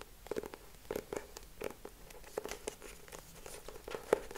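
Fingertips tap and scratch the cover and edges of a closed hardcover notebook with a purple cardboard cover, held in both hands. Quiet, dry taps with a hollow mid tone around 440 Hz are separated by soft, bright scratching. One louder tap stands out near the end.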